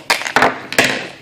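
A Marine Raider Bowie fixed-blade knife is shaken in its plastic sheath, giving four sharp, bright clicking rattles with short decays. The sheath does not hold the knife securely, so it rattles a little and feels flimsier than Cold Steel Secure-Ex sheaths.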